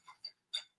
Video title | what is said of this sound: Korean Dishes with Magpie and the Tiger (Online Cooking Demo) | you could hear how crispy and crunchy it is